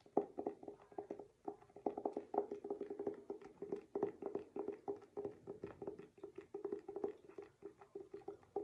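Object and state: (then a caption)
Hardcover book, tapped cover. Fingertips or nails tap and scratch the glossy paper-covered board front cover of a solid, medium-size hardcover picture book, "Don't Mess with Moses," held upright in both hands. Quiet, rapid, dry taps with a hollow tone around 400 Hz come in uneven bursts, each dying away almost at once, with faint scratching between them.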